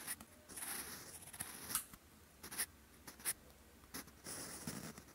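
A sharpened wooden pencil writes in handwriting strokes across a lined grey-beige paper notebook page, its graphite tip scratching over the paper surface. Soft, bright, papery scratches rise and fall as each stroke is drawn, broken by quick sharp ticks and brief quiet pauses.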